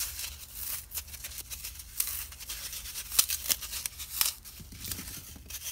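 A small, palm-sized block of solid green dry floral foam is held in both hands and crushed, pinched and crumbled with fingertips and blue-painted nails, leaving foam dust on the fingers. The sound is a dry, bright crackling and crunching with sharp clicks, mostly in the high range. A low steady hum runs underneath.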